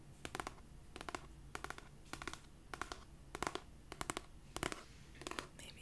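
Long nails scratch and tap the cover and edge of a cream paperback copy of "It Ends With Us," a solid paper book. The nails make about nine short clusters of quick, bright, dry clicks, evenly spaced. A faint low hum runs underneath.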